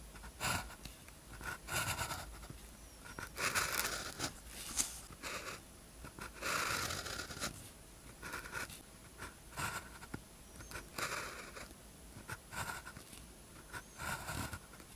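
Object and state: Pen writing on a paper practice sheet.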